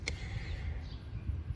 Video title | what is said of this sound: Toyota Sienna Check Engine P0171- SOLVED | when they shake it you'll hear a click